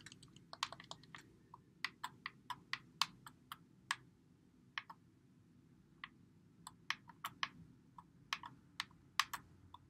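A white Xbox One controller with a hollow plastic body is held in both hands while fingertips press and click its buttons and thumbsticks. Quiet, sharp, bright plastic clicks come in irregular bursts, each dying away almost instantly, over a faint steady low background hiss.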